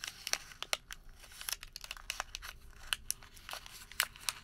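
A thin white thermal paper receipt is folded and then crumpled into a small ball with the fingertips. Bright, dry crinkles and sharp crackles come in quick irregular bursts over a soft rustle, with almost no low end and each snap cut off at once.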